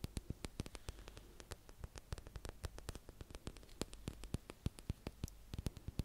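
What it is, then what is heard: Plastic tub tapped with fingernails. Long fingernails tap and scratch a small round pink plastic tub with a printed label, held in one hand. Quick, sharp, dry clicks come in an irregular stream and die away almost instantly, over a faint scratchy rustle and a steady low hum.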